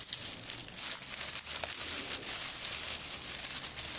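Fingertips grasp and rub through a large bunch of dried eucalyptus stems covered in small, round, papery leaves. The result is a steady, bright, high-pitched crinkling with tearing rustles throughout.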